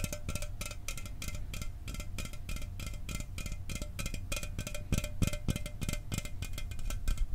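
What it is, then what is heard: Aluminum soda can. A sealed, hollow 12 oz Mountain Dew aluminum soda can is held up and tapped quickly with the fingernails and fingertips of the other hand. The result is a steady stream of short, dry taps, each a dull, low thump with a bright clicky edge and a faint metallic tone that dies away almost instantly.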